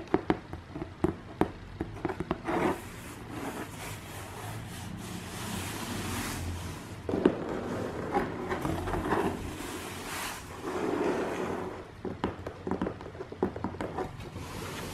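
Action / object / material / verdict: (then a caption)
tap / corrugated cardboard box / cardboard / none. A closed, medium-sized brown corrugated cardboard shipping box with a printed TRUSS logo is tapped on its side with long nails and fingertips, then held. Sharp, hollow taps open the clip, followed by stretches of soft rubbing and scraping as the box is handled. Clusters of quicker, lighter taps return later.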